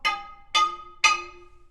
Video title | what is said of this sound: "The Old Hundred Gold Mine Like You've NEVER Seen It (w/ Minecraft Mayhem)" | you can hear good rock from bad rock